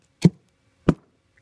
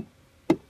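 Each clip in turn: First: hollow decayed tree trunk. Second: solid tree trunk.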